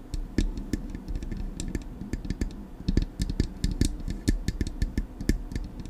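Long acrylic nails tap quickly and irregularly on the smooth metal body of a silver Blue Yeti microphone. Each tap is a sharp click with a bright, high tick over a deep, boomy thump. The taps decay almost instantly and leave a soft low rumble between them.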